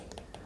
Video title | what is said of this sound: Best tablet for note taking in 2023: Xiaomi v OnePlus v Apple v Samsung | The tapping sound sounds solid.